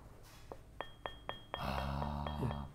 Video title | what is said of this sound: 무형문화재 이학수 옹기장의 숨쉬는 도자기 옹기 | 온도가 낮게 구워질수록 낮은 음이 나고 잘 구워질수록 높은 음이 나면서 맑은 소리